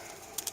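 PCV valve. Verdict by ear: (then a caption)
Rattling. A brand-new PCV valve is shaken, and the little ball inside rattles freely in short, bright, high-pitched clicks near the end of the clip. The rattle is the expected, normal sound of a new valve.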